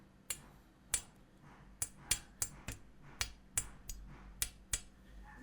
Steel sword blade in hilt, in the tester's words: if I flick the blade, doesn't quite ring at all. Very dull sounding.